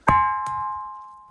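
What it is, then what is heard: Ringing bellstone rock, solid stone. A bellstone rock on Likoma Island is struck with a small stone and rings with a bell-like, metallic tone even though it is solid stone. A sharp tap gives a clear pitch around 1 kHz with fainter overtones, which sustains and slowly fades over about a second.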